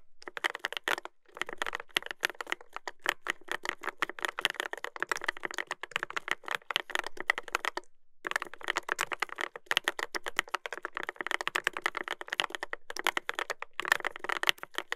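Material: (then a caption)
Brass, plastic. A full-size Dolphin 2021 mechanical keyboard with a brass plate, Adelie switches and dark and white plastic keycaps, in a dark case, is typed on with the fingertips of one hand. The result is a steady stream of quick, crisp clacks centred around 1.9 kHz with bright edges and very little low end. The typing breaks briefly near the first second and again just before the eighth.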